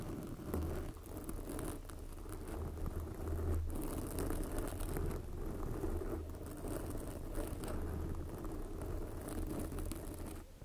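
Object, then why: Foam microphone windscreen. Long glossy black fingernails on both hands scratch a soft, porous red foam windscreen covering a microphone. The result is a steady, muffled scratching and rustling with a heavy low rumble and a faint bright hiss above it, running continuously without clear breaks.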